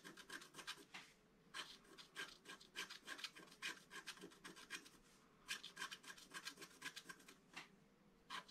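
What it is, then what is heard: Scratch-art board being scratched. A wooden stylus scratches a flower into the upper right of a flat, black-coated scratch-art card. Quick, bright, rasping strokes come in bursts separated by short pauses. Each stroke is dry and fades almost instantly.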